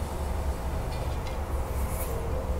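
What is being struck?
Nothing is struck.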